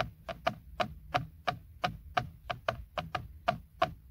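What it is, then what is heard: Plastic steering wheel airbag cover. A fingertip and nail tap and scratch the hollow, hard textured plastic center airbag cover of a BMW steering wheel. About 14 quick, hollow taps with a dull mid-pitched knock fall at an uneven pace over a low, steady hum.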